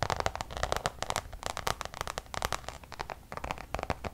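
Long nails tap quickly on a checkered coated-canvas Louis Vuitton designer pouch. A rapid, uneven series of short, dry clicky taps with a crisp midrange body and bright crackly edges. Each tap stops almost instantly.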